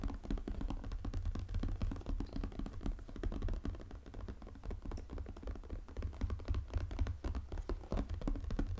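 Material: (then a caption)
Cardboard. Fingernails tap and scratch quickly on the glossy cardboard lid of a 500-piece jigsaw puzzle box lying flat. The result is a dense, irregular stream of soft, low, dull taps with short scratchy strokes throughout.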